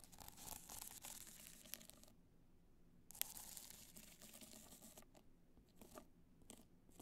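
Long black nails scratch the crystal surface of an upright black multicolor rhinestone hard-shell clutch, producing bright, dry scratching and crinkly rasps in bursts. A near-silent pause falls in the middle, broken by a sharp click before the scratching resumes more sparsely.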